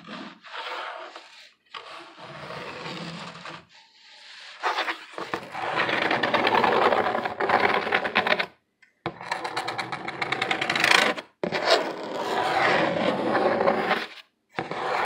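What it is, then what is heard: Corrugated cardboard box being scratched. A dimpled corrugated cardboard box surface is rubbed and scratched up close, giving dry, papery scraping and rasping in bursts. The first bursts are softer and the middle and later ones louder and brighter, with short silent gaps between them.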